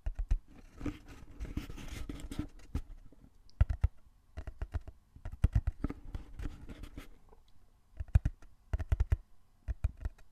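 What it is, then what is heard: Cardboard box. Fingertips tap and scratch the surface of a small, closed, hollow brown corrugated cardboard box held in both hands in front of the mic. Dull, low, hollow thumps with no ring mix with dry scratching rustles in irregular bursts, separated by brief quiet pauses.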